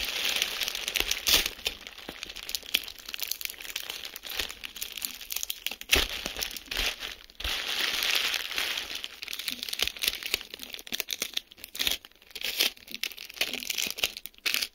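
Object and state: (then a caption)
Plastic bubble wrap. Clear plastic bubble wrap is handled with fingertips, its edge pulled and crinkled and its bubbles pressed. The result is a dense, bright crinkling and crackling with frequent sharp little snaps, almost no low end, and brief louder bursts throughout.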